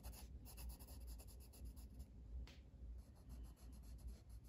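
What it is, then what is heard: Coloring book page shaded with a pencil. A blue wooden colored pencil held in the fingers rubs shading strokes across a flat paper coloring book page lying on a table. The result is a quiet, continuous scratchy rasp in short, uneven repeated strokes, with bright hissy streaks over a steady low rumble.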